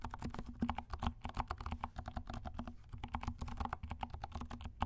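A compact black mechanical keyboard with black and pink plastic keycaps is typed on with the fingertips of both hands. A quick, steady run of soft, muted key clicks follows, each with a dull low thump and a very short decay.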